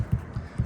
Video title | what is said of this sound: Alliance RV Roof Vent: Inspect This Now! | I'm just barely tapping on it. I'm tapping on with my pinky, so I'm not hitting it hard. This thing just sits there and rattles.